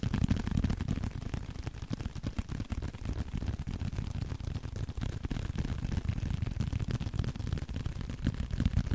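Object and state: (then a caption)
Leather card wallet. A small blue leather card holder, held in both hands, is tapped steadily with the fingertips. The rapid, slightly uneven taps are soft, dull and low, blending into a continuous muffled patter with almost no ring or brightness.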